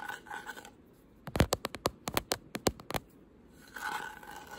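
Short pink nails scratch across a solid white painted, carved wooden flower panel, then tap it in a quick series of sharp, dry clicks before returning to soft scratching.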